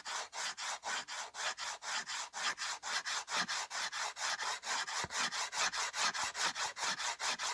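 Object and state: Slate board scratched with slate pencil.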